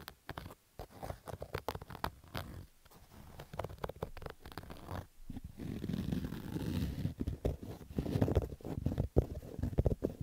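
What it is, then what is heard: Fabric baseball cap. A black Adidas fabric baseball cap with a stitched brim is scratched and rubbed with fingertips and short nails. Dense, rapid scratchy clicks sit over a low, muffled rumble, and the second half turns into steadier rubbing noise punctuated by sharper scrapes.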